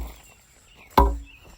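A 2x4 is struck once down a post hole on the back wall against the concrete footing at the bottom, giving a single dull, low thud that fades within a fraction of a second over a quiet background. The hit confirms the concrete footing is in place.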